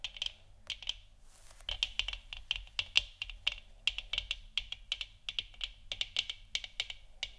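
Long nails tap the sides of a hollow plastic moon lamp sphere and then scratch its front, making a fast series of sharp, bright clicks with almost no ring. A brief, hissy scrape sits among the taps.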